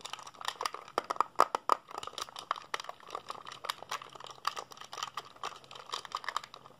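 Fingertips rapidly press the buttons of a black plastic PSP handheld console, hand-sized and hollow and held in both hands. Dense, fast clicks with a sharp attack and almost no ring rattle off one after another, with a hard, plasticky tone near 1.2 kHz and some bright click edges. A faint low hum runs underneath throughout.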